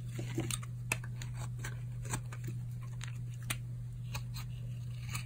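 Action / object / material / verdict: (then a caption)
scrape / bar of soap shaved with a knife blade / soap / none. A solid, dry, tan oval bar of soap held in the palm is shaved with a utility knife blade. Repeated crisp, crunchy scraping strokes make short, bright bursts over a steady low hum.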